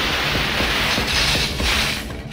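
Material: Nothing is struck.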